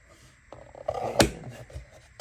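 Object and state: Loaded plastic ammo box, cartridges held tight with no rattle.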